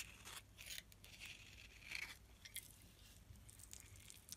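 A solid white bar of soap held in the hand has shavings scraped off its face with a metal blade. The result is a quiet run of dry, crisp scraping and crunching strokes, bright and high-pitched, with a faint low hum underneath.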